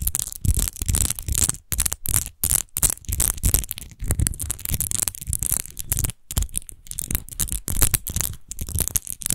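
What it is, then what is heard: Textured glass bottle, scratched. Long nails scratch the bumpy, rose-textured base of an empty clear glass wine bottle lying on its side. The result is fast, dense scratching bursts with short gaps, carrying a low rumbling body and a bright, gritty hiss on top.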